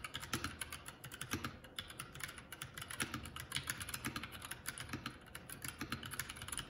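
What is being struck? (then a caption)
Mechanical keyboard with plastic keycaps. Both hands' fingertips type continuously on a Keycool K84, a 75% mechanical keyboard with plastic keycaps. Rapid, bright clacking keystrokes blend with a low, hollow thock beneath each press. The result is a steady, dense flurry of typing with short, dry decays.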